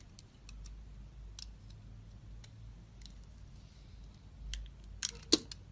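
A box-cutter blade shaves a solid rectangular DURU soap bar with a red metallic coating, held in the hand, exposing the white soap underneath. Faint, bright scratchy ticks sound over a low steady hum, then two sharp crisp cuts near the end. Each cut snaps off almost instantly with no ring.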